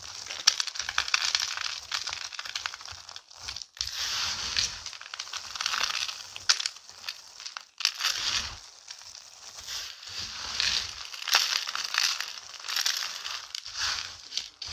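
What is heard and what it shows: Both hands scoop, squeeze and rub a large pile of crushed, brittle pink dry soap shavings, recycled soap, on a white surface, working them with fingers and palms. The result is a dense, bright, crunchy crushing and crackling that swells and fades with each handful, with brief quieter pauses between grabs.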